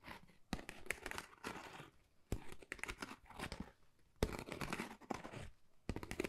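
Long nails scratch across a flat, pale pink, pebble-textured Dior cardboard folder that is thin and hollow. Soft, dry, rasping scrapes come in bursts with sharp starts and quick stops. The hollow card gives each stroke a gritty, crinkly texture.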